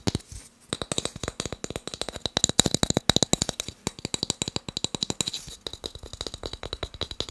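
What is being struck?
Small wooden cube block.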